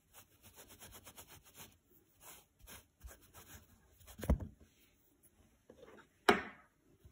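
A thin green nylon scouring pad is held flat and rubbed with a makeup brush, then with a spoolie brush. Quiet, crisp scratching strokes come in quick bursts, followed by two louder, sharper rasps near the end.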